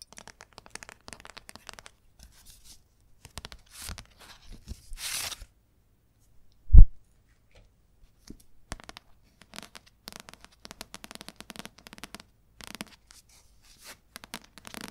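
Long nails tap and scratch the glossy card cover of a red paperback novel held up in the air. Faint, scattered ticks and scratchy rustles run throughout, with one louder, short low thump near the middle.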